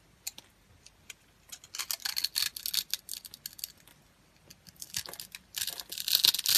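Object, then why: Bar of soap. A solid, palm-sized white bar of dry soap, held in the hand and scored in a grid, is shaved with a utility knife blade, breaking off crunchy cubes. Bright, crisp crackles and scraping crunches come in irregular bursts separated by short quiet gaps. They build into a dense, louder run of crunching at the end.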